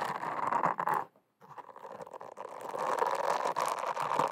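Long acrylic nails scratch and rub a solid, flat, teal round silicone face scrubber (cleansing pad) close to a microphone. The result is a dense, rapid scratchy rasping centered in the midrange, with a brief silent pause after about a second. It then resumes and builds back to a steady, slightly louder scraping.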